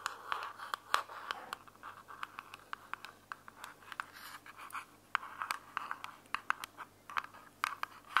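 A small, closed, hollow white plastic earbuds charging case is held between both hands while long fingernails scratch its sides and top. The result is a steady, dry scratching centered around 1 kHz, dotted with many sharp, bright clicky ticks that fade almost instantly. There is no low-end weight.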